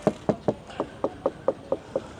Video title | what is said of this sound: ลองขับ CHERY V23 อเนกประสงค์ไฟฟ้าทรงกล่องลุคลุย มีดีน่าซื้อ บางเรื่องต้องคิด แนะซื้อขับสอง.. | เสียงมันแปลกๆคือวัสดุบางส่วนของรถเนี้ยมันเป็นcompositนะครับ